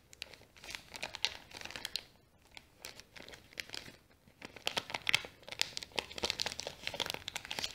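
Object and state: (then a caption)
Kraft paper bag being crumpled. A small, folded brown kraft paper bag is folded and crumpled by fingers while nails scratch across it. The result is a quiet, bright crinkling with dense bursts of sharp, dry crackles and little low end, broken by brief lulls before the rustling picks up again.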